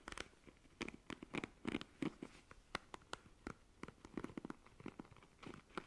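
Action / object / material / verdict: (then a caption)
scrape / plastic paddle hairbrush bristles / plastic / none. Long nails scratch and run across the plastic bristles of a black plastic paddle hairbrush held by its handle. The result is a quiet, irregular series of short, dry scratchy clicks and rasps with brief bright crackles. No two strokes land alike, and each sound dies away almost instantly.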